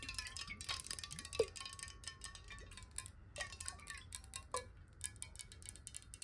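Long nails tap rapidly on the walls of a clear glass water bottle held horizontally with some water inside. The sound is a dense run of bright, sharp clicks over faint, sustained glassy ringing tones near 1 kHz and 2 kHz.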